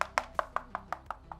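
The back of a Tecware Phantom 87 mechanical keyboard case is tapped eight times, giving short, dry taps with a midrange knock and quick decay. The case has foam with both PCB and case dampening inside, so it sounds damped and less hollow than a Redragon K552.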